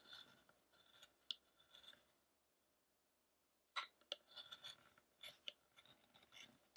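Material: Wood.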